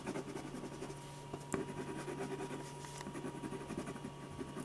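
A metal ballpoint pen tip scratches fine strokes across a large sheet of white drawing paper on a firm board, a flat and solid paper sketch pad. Soft, continuous scratching with quick stroke textures plays over a steady low hum, with one brief sharper tick in the middle.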